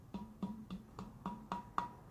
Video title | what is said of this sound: Filtro e Fonte - Formantes e Harmônicos | ela está vazia não têm água e se eu bater na garrafa ela faz um som